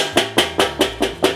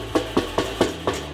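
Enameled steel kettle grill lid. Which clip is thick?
The second.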